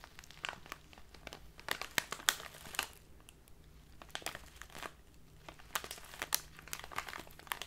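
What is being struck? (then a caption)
Clear plastic bag of loose leaf tea. A tall clear plastic bag full of loose leaf tea, standing upright, is crinkled and scratched with fingertips and long nails. The result is a quiet, continuous stream of bright, crisp crinkles, broken up by sharper clicking snaps over a faint low hum.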